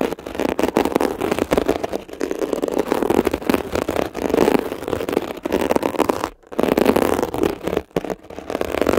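A metal ear pick scratches across a blue mesh-covered textured foam scrub sponge while fingertips hold its edge. The result is a dense, continuous crackling and rasping scrape centered in the low-mids, broken by brief pauses near the end before the scratching resumes.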